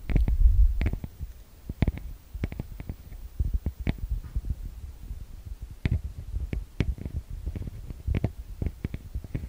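Fingertips and long nails tap and scratch the metal-grille microphone capsules of a TASCAM DR-40X recorder. An irregular, rapid run of deep, boomy thumps follows, each with a quick bright click on top, and the whole stream sounds dull and bass-heavy.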